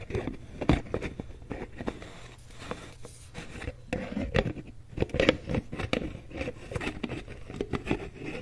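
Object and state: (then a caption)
Plastic cosmetic jar with lid. Fingertips and long nails scratch and tap the green plastic screw lid and the side of a medium white plastic Aveeno cream jar. Dry scraping and crackling mix with many short, sharp clicky taps that die away almost instantly over a steady low hum.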